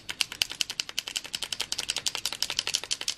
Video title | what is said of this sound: Matériel : Présentation des Tooli-art Pack Wildflower #colouring #arttherapy #acrylicpainting #draw | vous secouez la peinture et vous entendez il y a une bille pour bien le secouer et liquifier